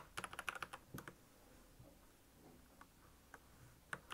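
Fast fingertip typing on a black plastic Royal Kludge mechanical keyboard with backlit keys produces a quick burst of sharp, bright key clicks. The clicks then thin out into a few scattered taps, each dying away almost instantly against a quiet background.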